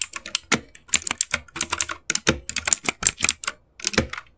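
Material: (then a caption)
Plastic. Fast typing on an RGB-backlit mechanical keyboard with plastic keycaps, with both hands striking the keys with their fingertips. A dense run of short, bright, high clicks comes with very little low end and no ring, pausing briefly near the end before a few final strokes.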